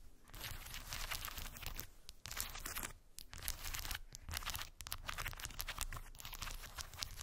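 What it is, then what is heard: Wooden beads on cork board. Long white acrylic nails tap and scratch over solid round wooden beads packed densely on a small rectangular cork board. The result is a steady stream of dry, bright clicking and crackling scrapes over a soft low rumble, with brief pauses between bursts.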